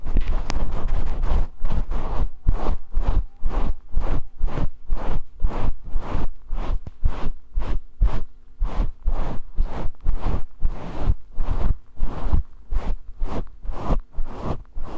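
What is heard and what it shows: Fingers scratch and stroke a fluffy grey faux fur microphone windscreen held close to the camera. A steady run of rough, brushing scratches repeats about twice a second, each burst carrying a heavy low rumble with a crackly, bright top. The rubbing goes on unbroken through the whole clip with only brief dips between strokes.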